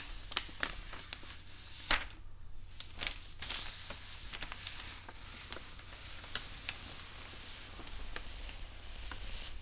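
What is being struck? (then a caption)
Newsprint paper sheets on a wooden table. Hands rub thin newsprint newspaper sheets on a wooden table and fold a page over with the fingertips. The result is a soft, continuous papery rustle broken by sharp, bright crinkles and crackles, the loudest snapping near the two-second mark, over a steady low hum.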